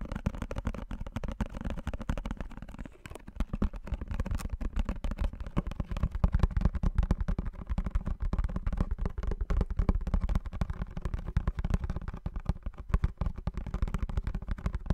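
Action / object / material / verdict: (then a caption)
tap / small printed cardboard box / cardboard / none. A small blue printed cardboard perfume box, held in both hands close to the mic, is tapped and scratched rapidly with fingertips and nails. The result is a dense, continuous stream of short, dry taps and scratchy crackles with a heavy, low, muffled body, a brief lull near the three-second mark, and steady intensity throughout.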